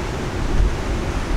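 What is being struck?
Nothing is struck.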